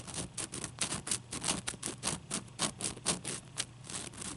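A large, clear, solid ice cube held in both hands is tapped and scratched with long nails. A quick, uneven run of crisp, bright clicks and scrapes plays over a low hum, each tap dying away almost at once with no ring.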